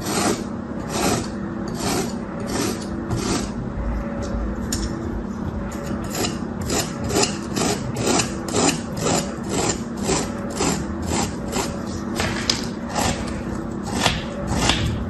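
A small metal tool scrapes and cuts through pressed, shaped kinetic sand resting on a striped cloth. It makes a steady run of gritty, rasping strokes, about two per second with uneven timing. Each stroke carries a bright, sandy hiss over a low, continuous rumble.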